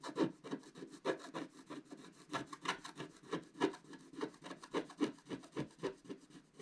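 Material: Coated paper.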